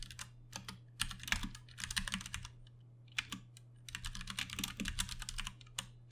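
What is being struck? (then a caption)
Plastic mechanical keyboard. A compact 60% Ducky One 2 Mini mechanical keyboard with plastic keycaps, Cherry MX Brown switches and RGB backlighting sits on a desk while both hands tap the keys with their fingertips. Bursts of bright, rapid clicky keystrokes come in two runs separated by short pauses, over a steady low hum.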